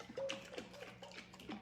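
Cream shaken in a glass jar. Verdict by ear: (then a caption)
Liquid. A glass mason jar of cream is shaken to make butter, and the still-liquid cream sloshes and slaps against the side of the jar in a quiet, rhythmic series of wet knocks. This slapping is normal at this stage and fades once the cream thickens into whipped cream.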